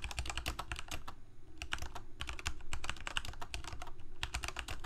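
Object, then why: Plastic mechanical keyboard. Fingertips of both hands type continuously on a full-size black plastic Corsair K68 gaming keyboard with backlit keycaps, Cherry MX Red switches and a hollow plastic case. The result is a fast, steady stream of short, bright key clacks over a low hollow thump, with a brief lull near the second mark before the typing picks up again.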